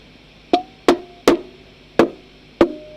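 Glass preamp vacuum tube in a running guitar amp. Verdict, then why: Microphonic. A glass preamp valve (vacuum tube) in a running guitar amp is tapped five times, and each tap comes through the speaker as a loud, woody knock with a brief pitched ring, over a steady background hiss. The valve is super microphonic and faulty, so it is removed and replaced with a TAD valve.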